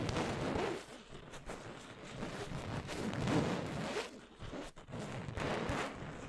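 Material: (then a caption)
Fabric. Long nails scratch and rub an orange printed fabric throw pillow close to the microphone. The result is a soft, rough, continuous rustling that swells and fades in several passes, with most of its energy in the low and middle range and only a faint bright edge.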